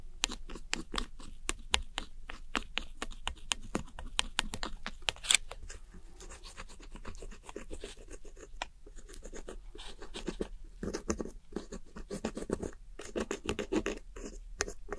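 A metal pick scratches and scrapes the pressed powder in the pans of a round plastic eyeshadow palette, its powder largely broken up. Dense, dry, gritty scraping strokes with a bright edge come in quick bursts, softening to lighter rasps in the middle before picking up again.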